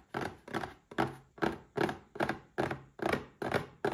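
A small red cardboard gift box stands upright and is tapped on its sides with the fingertips. The taps make a steady series of soft, hollow thunks, about two per second, each dying away almost at once.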